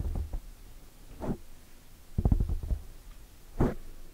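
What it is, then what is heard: Foam microphone windscreen being scratched. Long dark nails on clawed hands scratch and grip a large black foam windscreen over a microphone. Four muffled, bassy bursts of scratching and rubbing thump through, with very little high-end and a quiet, dull pause between each.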